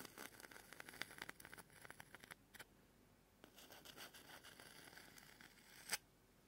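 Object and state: Pumice foot scrubber scraped with a plastic spoon.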